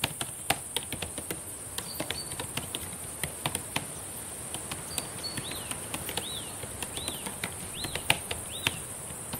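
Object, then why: Plastic laptop keyboard keys. Long painted nails and fingertips tap quickly and irregularly on the plastic keys of a black laptop keyboard, making dozens of sharp, dry clicks that cut off almost instantly. Faint, high, chirp-like tones rise and fall in the second half over a steady, bright hiss.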